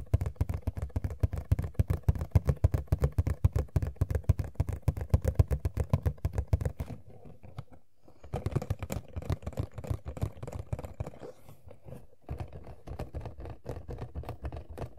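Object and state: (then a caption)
Empty cardboard figure box. An empty, small, hollow Funko POP cardboard window box for Sailor Jupiter (#93) is held and tapped on its front and side with long manicured fingernails and fingertips. Rapid, irregular, dull hollow taps with a low thump come in dense runs, broken by a brief pause near the middle and a short gap later on.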